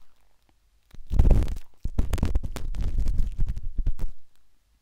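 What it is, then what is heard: Silicone microphone ear scratched inside. A metal-tipped dot stick with a wooden handle scratches inside the soft, hollow canal of a pinkish-white silicone ear on a binaural microphone. Heavy, low rumbling scrapes and dense crackling taps come in close bursts, from a sustained rub to a run of quick, separate clicks, with short pauses between.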